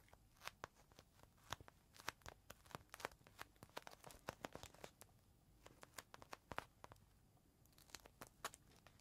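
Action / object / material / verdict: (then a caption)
scrape / plastic zip bag with a microfiber cloth inside / plastic / none. Fingertips squeeze and rub a clear plastic zip bag holding a folded green microfiber cloth, held edge-on and then face-on in both hands. The result is a quiet, steady run of sharp, dry plastic crinkles and crackles with bright, brief snaps that die away at once over a soft rustling bed.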